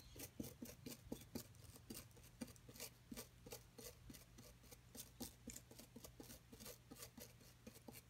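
A brush-like tool and a metal pick rub and scrape the surface of a solid white plaster block from a dinosaur nest excavation kit. Quiet, repeated short, dry rasping scrapes with bright, gritty edges ride over a steady low hum.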